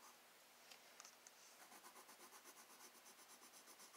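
A black wooden colored pencil tip shades across a thin, flat sheet of spiral-bound sketchbook paper. Three light ticks of the tip come first, then a steady run of quick, bright scratching strokes in an even rhythm. The sound stays quiet and close throughout.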